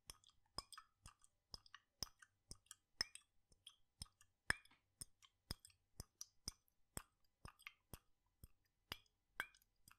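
A glass jar with a red lid, partly filled with blue liquid, is swirled and shaken in one hand with the fingertips on the glass. About two dozen quiet, sharp, bright clicks and taps sound at an uneven pace, each dying away almost instantly. Soft liquid plops and gurgles sweep between them.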